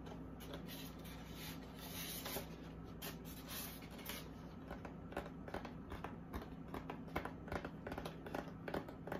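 A large white expanded-polystyrene foam packaging insert, lifted from its box, is rubbed and scratched by long acrylic nails and fingertips. Quiet, dry scratching and squeaky rubbing come in irregular bursts with sharper scrapes toward the end, over a steady low hum.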